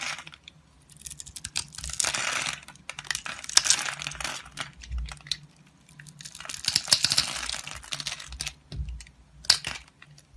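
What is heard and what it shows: A solid rectangular blue soap bar, held in the hand and pre-scored into a grid, is scraped with a utility-knife blade so small cubes fall off. It makes bursts of dry, bright crackling and crumbling with sharp little ticks and clicks, and quiet gaps between the passes.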